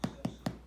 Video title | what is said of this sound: No knead bread | nice and hollow sound